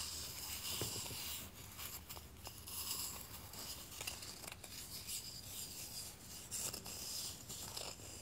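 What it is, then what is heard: Wooden tealight tray. Fingertips and palms rub and stroke a small solid wooden tray holding three heart-decorated tealights while it is held, then the tray is set down on the table. The sound is a quiet, steady, bright rubbing hiss with soft scratchy strokes and a few faint low taps.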